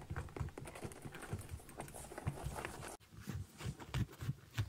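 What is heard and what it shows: Fingertips and nails tap and scratch the synthetic leather upper and thick rubber sole of a small kids' boot with a zipper. The result is a quick, irregular run of soft, dull taps with a low thud, short scratchy rustles, and almost no ring. A brief silent gap breaks the patter near the middle.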